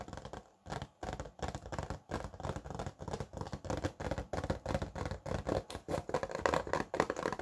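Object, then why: Plastic blister pack on cardboard backing. A small flat retail package, a hollow clear plastic blister over a printed cardboard card, is held up in both hands while fingertips and nails tap its front and back. The result is a steady run of dull, hollow tapping that comes in clusters with brief pauses between them. Each tap stops almost at once.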